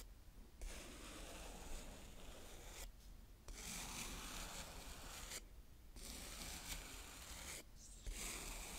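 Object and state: Kinetic sand scraped with a plastic spade.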